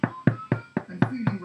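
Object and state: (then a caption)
Hollow-sounding, fully baked bread loaf. A freshly baked white bread loaf, just out of the oven, is knocked six times at an even pace, giving short, dull, low thuds with almost no ring. The hollow, door-like knock shows the loaf is cooked through.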